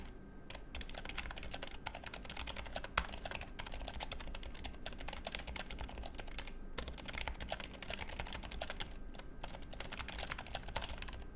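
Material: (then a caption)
Plastic. Both hands type rapidly on a compact, backlit, low-profile Keychron K3 mechanical keyboard with brown switches and grey plastic keycaps. The result is a continuous stream of short, crisp key clicks with bright ticks over a soft low thump, with brief pauses between bursts.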